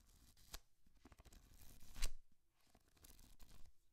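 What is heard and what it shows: A thick paperback book is held open in one hand while fingers and nails flip and rub its paper pages. The result is soft, dry papery rustles and scrapes, broken by a couple of sharper, brighter snaps as pages turn.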